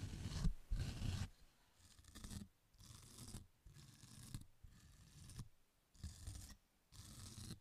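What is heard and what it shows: A small fan paint brush with dark bristles is brushed and scratched across the rough surface of a thin, flat, rectangular green nylon scouring pad held in one hand in front of the microphone. Dry, rough scraping and bristly scratching come in short, uneven strokes separated by brief quiet gaps, with a breathy hiss over a soft low rumble. The first strokes are the loudest and the later ones are softer.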